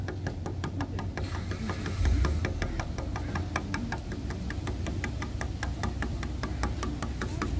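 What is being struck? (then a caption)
Wooden bench slats. Fingertips and short nails tap rapidly along one slat of a grey, weathered, solid wooden bench outdoors. The result is a quick, steady run of short, dry, bright clicks that die away almost instantly, over a constant low rumble.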